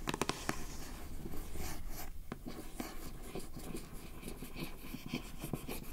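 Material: Cardboard.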